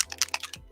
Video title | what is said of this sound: Paint on the Desk: 1st Time Speedpaint Hobby Hangout | these come with agitators in there it's like a little ball bearing bb size in there